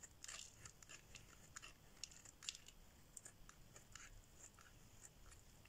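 A solid yellow bar of dry soap held in the hand is shaved and carved with a metal blade, crumbs falling away. A quiet, rapid series of short, dry, crisp scrapes and crunches comes through, bright and high with almost no ring after each cut, over a faint low rumble.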